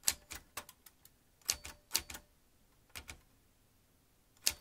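Fingertips of both hands type fast on the round keys of a vintage metal manual typewriter. Eleven sharp, bright clacks come in quick pairs and short bursts, with brief pauses between them. Each strike dies away almost instantly.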